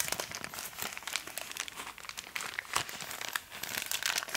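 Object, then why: Soft plastic packet of cotton pads. A hand-sized bag of soft printed plastic packaging, full of organic cotton pads, is held in both hands and squeezed and crinkled with the fingertips. This produces a steady stream of bright, crackly crinkles with sharp little snaps and almost no low end.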